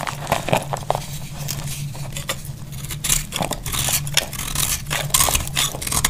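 A small knife cuts brittle flakes from a solid, dry, cream-colored oval soap bar held in the hand. It makes a quick run of crisp, crackling scrapes and short bright snaps over a steady low hum.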